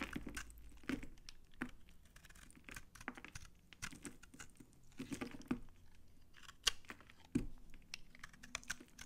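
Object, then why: Bar soap. A utility knife blade scrapes crunchy flakes off an old, solid, dry brown Farmamed bar soap held in the hand. Repeated dry, crackling scrapes and crunches come in short bursts with bright, gritty edges and a low undertone, quiet overall with no ring.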